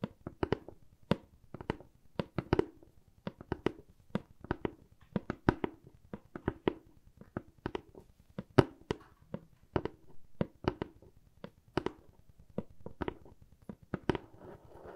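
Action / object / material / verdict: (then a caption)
tap / corrugated cardboard box / cardboard / none. A hollow, medium brown corrugated cardboard box is held in the hand and tapped and scratched with long nails. Quick, dry, papery taps come in an irregular stream with a dull, hollow low-mid body and almost no ring. A soft scratchy rustle fills the gaps near the end.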